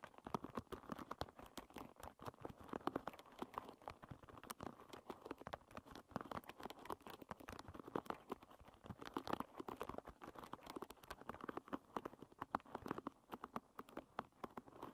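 Long red nails strum and scratch across the many wooden pins of a hairbrush lying bristles-up. The result is a quiet, steady stream of rapid, dry clicks and ticks that die away instantly. The sound is centred in the midrange, with little low rumble.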